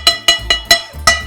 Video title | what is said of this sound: Harvest Evening Virtual Chef's Challenge - Deanna Fox, Albany Cooking School | give it a whack on the bottom. Oh, it sounds hollow. That's a good sign.